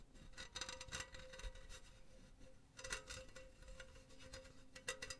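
Long painted nails scratch and tap a silver metal mesh pen holder, hollow and empty, held close to the mic. Quiet clusters of bright, scratchy taps come in bursts over a low, steady metallic hum around 500 Hz, and each tap dies away almost at once.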